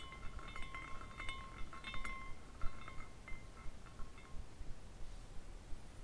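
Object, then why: Glass carousel ornament with hanging glass pieces. Fingertips twist the top spire of a small clear glass carousel ornament with hanging glass horses on a rainbow glass base, spinning it so the hanging glass pieces clink together. Quiet, light tinkling clinks with short bright ringing tones near 1 and 2 kHz repeat irregularly over a low background rumble.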